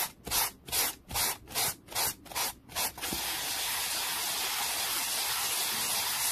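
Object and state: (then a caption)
Wooden board. A black-bristled brush is scrubbed fast and hard across a small solid wooden board resting on a towel, with a hand covering much of the board. About eight quick, evenly spaced bright scratchy strokes come in the first three seconds, then the sound turns into a steady, continuous high hiss for the rest of the clip.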